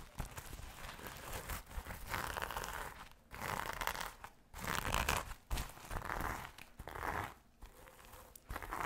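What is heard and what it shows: Fingers and nails scratch and flip the sequins on a small, soft, hollow rainbow sequin pouch. The result is a close, dense crinkling and scratching texture in uneven bursts, separated by a few short, quieter gaps.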